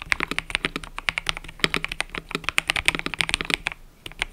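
Fingertips type continuously on a mechanical keyboard with cream and purple plastic keycaps, producing about 34 quick, bright clacks with almost no ring. The keystrokes come in a steady flurry with a brief pause near the end, over a faint low hum.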